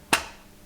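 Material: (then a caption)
Metal. A single knock on a large, heavy metal watercolour paint palette gives a sharp, bright metallic tap with a steady ringing tone near 2.7 kHz that fades quickly. The owner dislikes this metallic sound and, finding the palette too big and too heavy, does not want to keep it.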